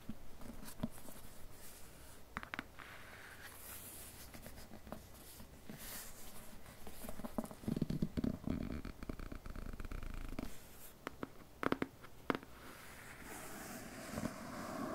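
Fingertips and nails tap and scratch the face and spine of a dark matte cardboard slipcase held in the hands, with a Cosac Naify edition of "Os Trabalhadores do Mar" inside. Quiet, dry scratching rustles steadily underneath short, sharp taps that die away almost instantly, with a fuller, heavier stretch of scratching near the middle. The sound stays soft and mostly low and dull, with only a little high hiss.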